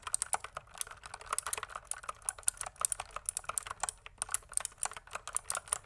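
Fingertips type continuously on a pink plastic mechanical keyboard, producing a steady stream of quick, crisp clicks and clacks. Each keystroke is short and dry, with bright, high clicking over a quiet background.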